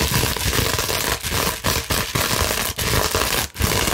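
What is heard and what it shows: A large clear plastic bubble wrap sheet is scratched and gripped with long nails and fingertips. It makes a dense, steady crinkling and crackling that runs across lows through bright highs, broken only by a few brief quiet dips.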